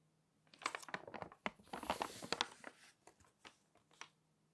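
Glossy magazine pages are flipped by hand and rubbed flat with the fingers. Quiet, dry crinkling and rustling come in quick bursts, with sharp, bright snaps of paper between them. Each sound stops dead with no ring.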